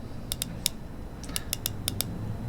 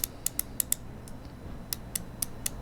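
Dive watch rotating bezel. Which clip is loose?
The second.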